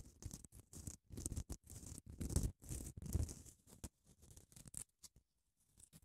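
Long nails scratch along a long grey padded emery nail file with a printed label, its grit laid over foam. The result is a quick run of short, dry rasping strokes with gaps of silence between them, each combining a soft low rumble with a bright, hissy scrape.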